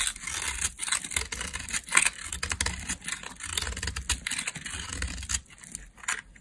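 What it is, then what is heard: Dry soap bar being shaved. A metal blade shaves and scrapes a solid, pale, dry laundry soap bar held in a hand with long painted nails, cutting it into curls and crumbs. Rapid, dry scraping strokes follow one another closely, producing a bright, gritty hiss with crisp crackles and very little ring. A faint low rumble sits underneath.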